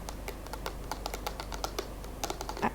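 A small cardboard box is tapped rapidly, giving a quick run of light, dry clicks about 19 taps in under three seconds, each with a short bright ring.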